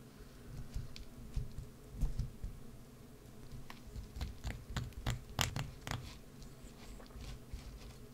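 A wood-handled carving gouge scrapes and carves a solid green bar of soap held in the hand, with shavings falling away. It makes quiet, irregular scratchy scrapes and short, bright clicks over a low, muffled rumble.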